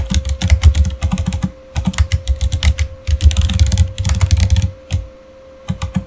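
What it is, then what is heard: Plastic mechanical keyboard being typed on. Fingertips type quickly on a backlit Razer mechanical keyboard with plastic keycaps, producing dense bursts of clicky keystrokes with deep, thocky lows and bright, sharp tops. The typing runs in rapid flurries separated by brief pauses, with a steady faint hum underneath.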